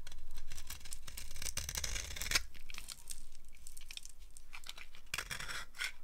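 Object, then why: Bar of soap carved with a blade. A blade carves crunchy, curled shavings off a solid, dry green soap bar held in the hand. It makes a run of bright, dry scraping and crackling strokes over a steady low rumble, with a sharp crack near the middle and brief dips between the cuts.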